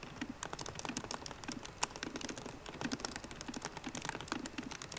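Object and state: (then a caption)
Laptop keyboard, plastic keys on aluminium body. Both hands type fast with fingertips and long painted nails on a MacBook Pro keyboard, its plastic keycaps set in a hollow aluminium laptop body. A rapid, steady stream of light, dry clicks and taps is heard, each one short and bright with almost no ring, with a slightly louder tap now and then.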